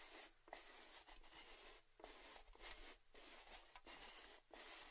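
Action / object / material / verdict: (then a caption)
tap / lidded metal gift tin / thin metal / none. Fingertips and nails tap and scratch along the lid edge of an orange metal Baileys gift tin with its lid on. The result is quiet, uneven bursts of bright, scratchy rubbing with short pauses between them. There is also a faint metallic ring around the mid-range.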